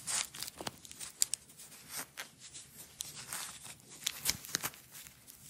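A blue hook-and-loop nylon velcro strap wound into a small roll is pulled off the roll with long nails and fingertips and pressed back. Soft, bright crackling peels come in short bursts with quick pops, mostly high-pitched with almost no low end.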